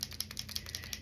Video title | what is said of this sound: Using and maintaining paint pens for the beginner. | hear that ball in there that metal ball rolling around